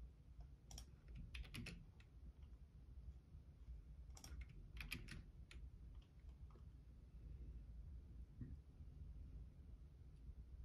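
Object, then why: Plastic computer keyboard. Fingertips type on the left-side keys of a black plastic Logitech keyboard, producing two short bursts of bright, clicky keystrokes around 1–2 seconds and 4–5 seconds, plus a few scattered taps later. The key clicks sit over a steady, quiet low-frequency hum that fills the rest of the clip.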